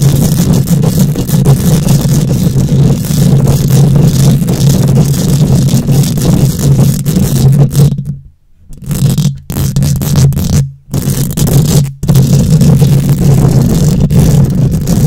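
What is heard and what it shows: Long nails rapidly scratch a hollow steel mesh microphone grille, making a loud, dense scratching roar dominated by a deep, buzzing low hum. The scraping pauses into brief silences around the middle, the longest at about 8 to 9 seconds, then resumes just as heavily.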